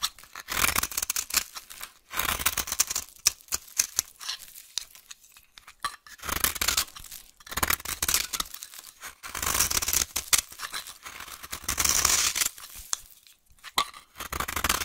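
A solid, dry, brown vintage soap bar held in the hand is scraped and carved with a utility knife blade. Bursts of bright, crisp scraping and shaving crackle come in irregular waves, separated by brief quiet pauses.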